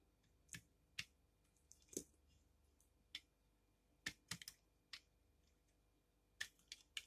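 A utility knife blade shaves thin slices from the surface and edges of a solid pink bar of soap held in the palm. Thirteen short, bright, crisp scraping clicks come at irregular intervals, each dying away almost instantly over a faint, quiet background.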